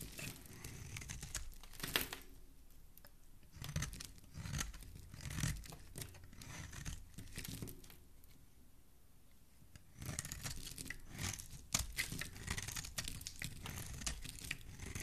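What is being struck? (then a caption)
Soap bar shaved with a metal blade. A flat metal box-cutter style blade scrapes and shaves curls off the surface of a solid oval pink soap bar held in one hand, the shavings falling onto a pile below. Crisp, bright scraping and crinkly tearing strokes come in bursts, with a quieter pause before the shaving picks up again near the end.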